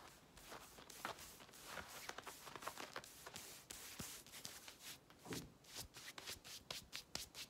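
Long red nails scratch quickly over the pocket and fly area of blue denim jeans being worn, then rub the denim on the leg. The result is a dense run of short, bright, rasping scratches and softer rubbing strokes that are mostly high-pitched and quiet, with almost no ring.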